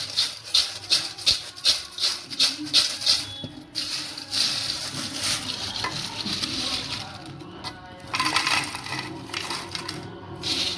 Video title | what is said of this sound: कुरकुरीत केळीचे चिप्स! | आपल्या चिप्सला आपण मीठ आणि मिरची लावून घेतलेली आहे मस्त बघा कुरकुरीत आवाज येतोय